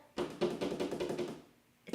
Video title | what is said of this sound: 12 IDEAS FOR SCRAPBOOK PAPER HOME DECOR | It's hollow. You hear that? It's hollow and it's plastic.